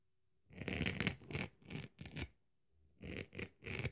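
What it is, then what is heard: Dry scouring pad scraped with a knife blade. A metal craft knife blade scrapes and scratches across the rough, fibrous surface of the dry red abrasive scouring-pad side of a kitchen sponge held in hand. It makes a series of short, gritty rasping strokes with a bright hiss over a low scratchy rumble. There is a brief pause mid-clip before three more strokes.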